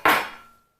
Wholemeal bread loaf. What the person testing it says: tap the bottom. If it feels hollow, then it's done.